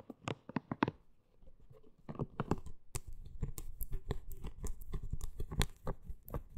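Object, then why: Silicone scalp brush with soft spikes. Long green nails scratch and tap the body and soft spikes of a pink, hand-sized, hollow silicone hair-washing brush. A run of sharp, dry taps comes first, then a brief quieter stretch, then a steady, denser patter of scratches and taps. The sound is short and clicky with little ring, sitting mostly in the low range.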